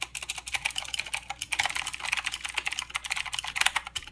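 Both hands type with their fingertips on a full-size mechanical keyboard with plastic keycaps and blue clicky switches. About 27 fast, separate keystrokes sound as bright, sharp clicks with almost no low end. Each click stops dead with no ring.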